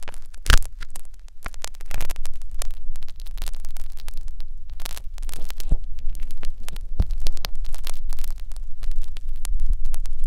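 Two thin metal wires on a blue syringe-style holder scratch and poke inside the ear canal of a life-size solid silicone ear model mounted on a round binaural microphone. The result is a steady, close, low rumbling hum broken by many short, dry scratching and tapping sounds, with occasional sharper clicks that cut off almost immediately.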